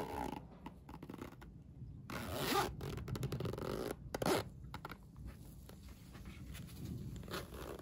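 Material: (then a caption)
Nylon coil. A yellow plastic coil zipper on a Minion fabric pencil case is zipped and unzipped, its slider pulled with a fingertip and nail. Soft raspy zipping runs come in bursts, with brighter, louder pulls around two and a half and four and a half seconds, over a steady low rumble.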